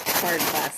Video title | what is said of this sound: Yard Sale & Thrift Store Fun Day! Searching for things to keep or flip!#thrifting#yardsale | When you when you shake them, it almost sounds like glass, but they're they're not.